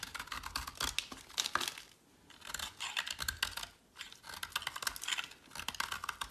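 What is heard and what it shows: A metal utility blade carves a solid teal bar of soap held in the hand, producing rapid, dry, bright scraping and shaving strokes. The strokes come in three busy bursts separated by brief pauses, with little low-end weight and almost no ring after each stroke.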